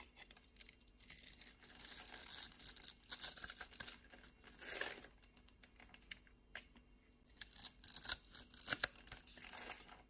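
A solid purple bar of soap held in the hand has its pre-scored grid cut away into small cubes with a utility knife blade. Bright, crisp scraping and crumbly cutting come in bursts of short, dry ticks with almost no low end. The bursts pause between strokes.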